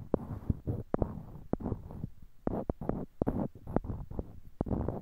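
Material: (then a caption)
Wood. Small, solid, light-colored wooden cubes are held in pairs in each hand close to a binaural microphone while fingertips click and knock one block against another. The result is a steady series of short, dry wooden clicks and knocks with almost no ring, carrying a low, woody body and soft handling rustle between taps.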